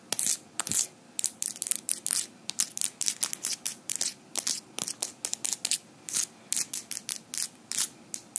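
Small metal fingerpicks worn on the fingers of both hands are repeatedly tapped and clicked against each other with the fingers interlocked. About 32 sharp, bright metallic clicks come in quick, irregular bursts, each dying away almost instantly, with almost no low end.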